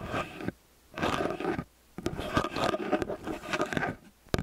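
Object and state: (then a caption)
Metal stereo microphone being scratched. Fingertips and nails scratch and rub the ridged metal capsule heads of a small X/Y stereo microphone with a hollow metal body. Bursts of close, gritty scraping and rubbing are broken by brief silent gaps, with a sharp tap near the end.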